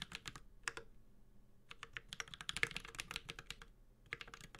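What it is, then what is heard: Mechanical keyboard being typed on. A Space65 Cybervoyager 65% mechanical keyboard with a white-gold aluminum case, carbon fiber plate, plastic keycaps and tactile Holy Panda switches is typed on steadily with the fingertips of both hands. Quick, bright, clacky keystrokes come in bursts with short pauses between them, each click dying out almost instantly, with most of the energy high around 2 kHz and little low thump.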